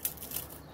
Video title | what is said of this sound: कुरकुरीत हक्का नूडल्स स्वीटकाॅर्न पकोडे एक वेगळा प्रकार. पटकन होतात .चविष्ट भारीच | तोडून पण दाखवते बघा. कुरकुरीत आवाज येतोय ना